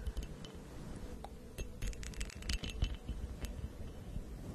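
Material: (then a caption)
Glass. Long acrylic nails tap and scratch the textured surface of a medium, hollow purple glass goblet or vase with an embossed pattern, which appears empty and is held by the stem. Quiet, irregular clicks and bright glassy clinks are heard over a soft, scratchy rustle and a low background rumble.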